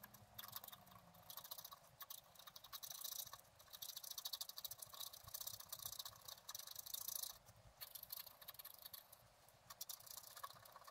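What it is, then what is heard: Scratch art card being scratched. A pointed wooden stylus scratches the black wax coating off a flat A4-sized scratch-art sheet with colored layers beneath, lying on a table while the other hand holds it in place. The sound is a quiet, bright, dry scraping made of dense rapid strokes, swelling and easing in short bursts over the whole clip.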